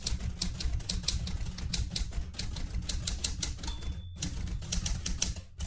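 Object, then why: Manual typewriter with metal body and keys. Fingertips with painted nails type quickly on the round keys of a vintage light blue portable manual typewriter with a metal body. There is a fast run of bright, crisp key clacks over a heavy low thump. A short high ringing tone sounds just before a brief pause, and then the typing resumes.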